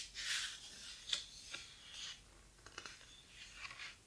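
Fingertips rub and turn the heavy paper pages of an open, thick, large hardcover photo book. Quiet, bright papery swishes and rustles are broken by about four sharp little page snaps. There is almost no low end.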